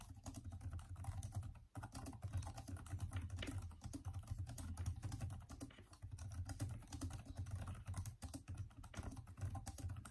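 Fast two-handed fingertip typing on the backlit plastic keyboard of a Microsoft Surface laptop, whose hollow keys give dense, rapid clicks with a low, thumpy body and very short decay. The taps run almost continuously, with only a brief pause near the start.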